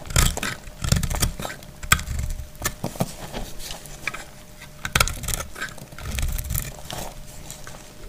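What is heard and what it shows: A solid, translucent green glycerin soap bar held in the hand is cut and scraped with a utility knife blade. Rapid, crackly scraping strokes and crisp cuts come one after another, with a soft low body and bright, papery edges. Each stroke stops dead with no ring.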